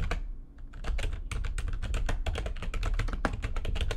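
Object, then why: Plastic computer keyboard. A full-size, low-profile, backlit plastic computer keyboard on a desk is typed on fast with long-nailed fingertips. Quick, crisp, bright key clicks run together over a steady low, thumpy body, with a brief lull near the start before the rapid typing continues.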